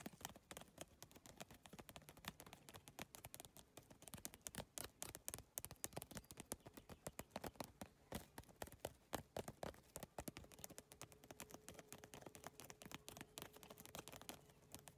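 Long nails tap rapidly on a holographic, iridescent bag made of triangular geometric PVC plastic tiles. Dense, quick clicks and light plastic ticks run continuously, each hit short and dry, with a faint steady low hum underneath.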